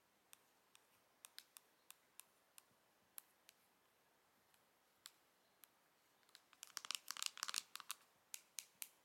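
Long nails tap and scratch the printed cardboard back of a Pillow Talk face palette box held in the hands. Sparse, sharp, bright clicks come at irregular intervals for about six seconds, then gather into a quick, dense flurry of scratchy taps before thinning out again. Each dry click dies away almost instantly, with no low end.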